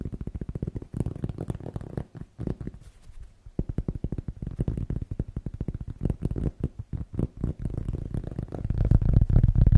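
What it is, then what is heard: Cork. A cork object is tapped fast and aggressively with the fingers, making a rapid, uneven stream of dull, low, muffled thuds with no ring. The tapping eases into a quieter stretch a few seconds in, then returns denser and grows louder toward the end.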